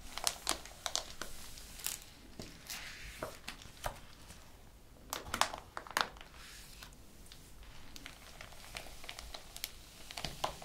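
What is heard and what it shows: Fingertips and flat hands rub and slide over the printed paper sheets of an open ring-bound thesis document, with brief handling of the pages. Soft, steady paper rustling is broken by many sharp, bright crinkles and quick crackling ticks that fade almost at once.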